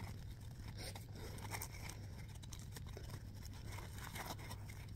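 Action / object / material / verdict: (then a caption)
scrape / foam scrub sponge / foam / none. A small, soft, round yellow smiley-face foam scrub sponge is squeezed and scratched by fingertips and nails. The result is a steady run of quick, dry scratching and crinkling textures, with bright flicks over a low, constant hum.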